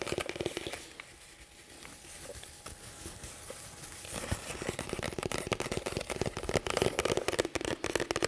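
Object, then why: Nylon tactical plate carrier vest. Fingertips and nails scratch and tap the padded shoulder straps, velcro and front panels of a black nylon tactical plate carrier vest worn on the chest, close to the microphone. A brief burst of scratching gives way to soft, quieter rubbing for about three seconds. Then dense, crackly scratching and rapid dry taps build to the end.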